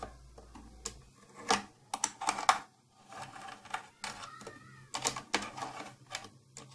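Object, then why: Plastic case. Long painted nails tap and scratch the side of an old, closed, hollow, round purple plastic tattoo kit case with silver trim. Quick, sharp plastic clicks and bright, scratchy scrapes come in irregular bursts, with short quiet gaps between them.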